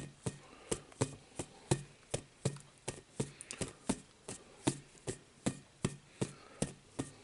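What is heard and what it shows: A hollow, rainbow-coloured inflated rubber playground ball about the size of a volleyball is held in both hands and tapped with the fingertips. It produces a loose, fairly irregular series of short, dull taps, a little over one per second. Each tap has a low, hollow thump with a quick bright click on top and almost no ring, over quiet background hiss.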